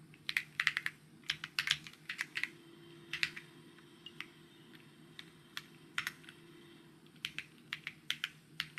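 Fingertips type on a white mechanical keyboard with plastic keycaps, producing bright, sharp taps that stop almost instantly. The taps come in quick bursts separated by short pauses, over a faint, steady low hum.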